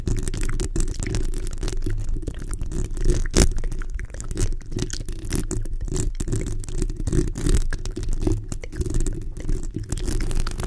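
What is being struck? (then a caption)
Metal mesh microphone grille. Long nails scratch the hollow metal mesh grille of a black microphone, producing a dense, continuous rasping rumble that sits almost entirely in the low range, with quick crackly bursts throughout. Near the end, the hands lift slightly away from the grille.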